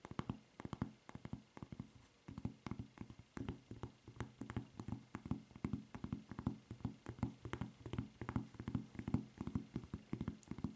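Long nails tap and scratch a white rubber flip-flop footbed printed with a red Levi's logo and fitted with a red rubber strap. The result is a steady run of quick, dry, low-toned taps with soft scratching between them, each tap dying away almost at once.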